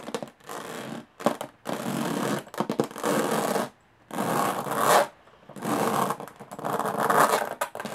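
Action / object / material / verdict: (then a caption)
scrape / small aluminum case with textured lid / aluminum / none. Long fingernails scratch the textured metal lid of a small, hollow aluminum briefcase. The result is bursts of dry, raspy scraping with pauses between them. The hollow case gives the strokes a mid-range body.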